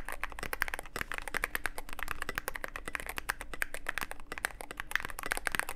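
Fingertips of both hands type continuously on a Cyberboard mechanical keyboard with plastic keycaps and a dark case. A fast, steady stream of sharp, dry clicks and clacks with a bright tone around 1.8 kHz fills the clip, each keystroke dying away almost instantly over a low background hum.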